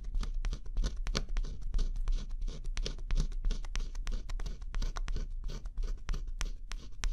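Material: Cardboard.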